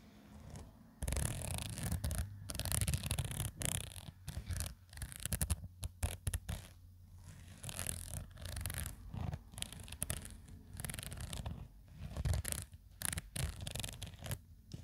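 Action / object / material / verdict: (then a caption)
scrape / woven nylon zippered pouch / nylon fabric / none. Long acrylic nails scratch and rub the front of a soft, hollow black woven nylon/polyester zippered toiletry pouch. The result is dense, bursty scratching with a deep, low rumble underneath and a bright, hissy top, coming in uneven waves with short quiet gaps.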